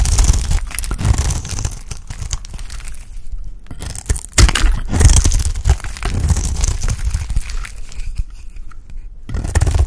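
A round, dry, solid cream soap bar held in the hand is scraped into curls with a utility blade. Dense, dry scraping and crunching strokes follow one another quickly, with a brief lull near the middle and another before the end.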